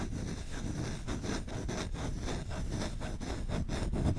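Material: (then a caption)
Wood. Fingertips scratch fast and hard across the surface of a solid wooden spoon bowl held right at the microphone. The result is a steady, dense rasping made of rapid repeated strokes, with a heavy low-end rumble and little bright content.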